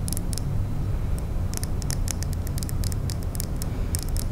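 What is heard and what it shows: A small solid glitter glass nail file, held in the fingers, is tapped and scratched with long manicured nails. Quick, bright clicks and ticks come in irregular bursts over a steady, low, rumbling hum that stays at an even level throughout.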